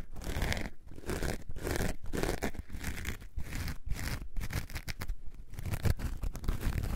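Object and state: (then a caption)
Foam sponge scratched with nails. A coarse orange foam sponge is scratched on its edges and faces with long nails. The result is a run of dry, crunchy scraping bursts, separated by brief pauses. The sound is deep and heavy in the low end, with a faint bright, rasping texture on top.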